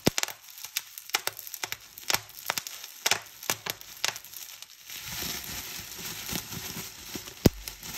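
Clear plastic bubble wrap is bunched and squeezed in the hands, giving a rapid series of sharp, bright pops as the bubbles burst. After about five seconds, the popping gives way to a steady, hissy crinkling of the plastic, broken by a few more pops.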